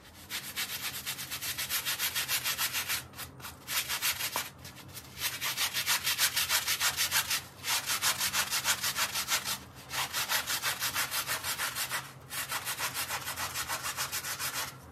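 A gloved hand scrubs a small, dark, soapy wet fabric mat resting on tile with a small handheld bristle brush. Quick, rhythmic, bright, scratchy brush strokes come at about three per second in long bursts separated by brief pauses.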